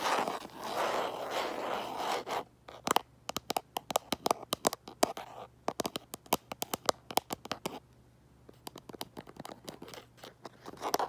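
Fingernails scratch and tap the back of a light-colored plastic case on a smartphone, seen in a mirror. A dense, hissing scratch opens the clip, followed by an irregular run of sharp, dry clicks with a brief quiet pause. Soft scratching returns at the end.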